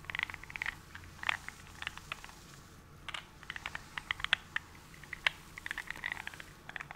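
A gloved hand holds a small glass nail polish bottle with glitter inside up close and taps or scratches it with fingertips or nails. Many quick, quiet, bright ticks and clicks come in irregular bursts over a faint low hum, each dying away almost instantly.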